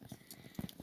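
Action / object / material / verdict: tap / paper mache ladybug filled with paper paste / paper mache / solid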